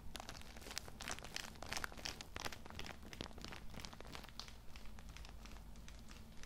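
A palm-sized or slightly larger Cool Mint pocket tissue multipack, soft and filled with small tissue packs in thin plastic film, is held in both hands and squeezed and rubbed with the fingertips. The wrapper gives off dense, bright crinkles in rapid bursts over a steady low hum.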